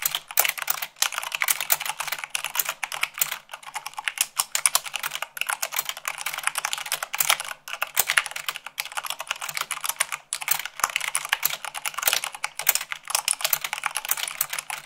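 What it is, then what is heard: Mechanical keyboard being typed on. Fast typing at about 98 words per minute with fingertips and long nails on a mechanical keyboard with white plastic keycaps on a black base. The dense stream of bright, clicky keystrokes has almost no low end, and each clack stops almost instantly with brief pauses between bursts.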